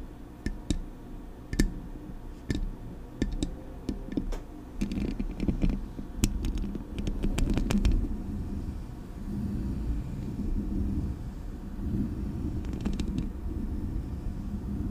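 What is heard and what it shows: Long acrylic nails tap the metal body of a Blue Yeti microphone and scratch its metal mesh grille. Sharp, bright clicks scatter through the first half over a dense, low rumbling scrape. The sound settles into steady, muffled scratching with a few more taps near the end.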